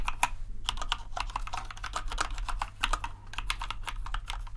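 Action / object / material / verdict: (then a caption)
tap / plastic mechanical keyboard / plastic / none. Fingertips type continuously on the keycaps of a compact white plastic RGB mechanical keyboard. The result is a rapid, dense stream of short, crisp clacks with a bright edge. A steady low hum runs underneath throughout.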